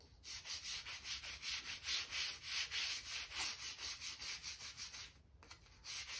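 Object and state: Brushing oak floorboard joints.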